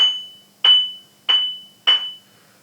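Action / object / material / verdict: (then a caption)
tap / abrasive bench grinder wheel / abrasive / sound. A replacement abrasive bench grinder wheel, held on a finger, is tapped on its side in a ring test after being turned 90 degrees. Three clear, even metallic rings at about 3 kHz each decay quickly, following the tail of an earlier tap. The even ring shows the wheel is sound and uncracked.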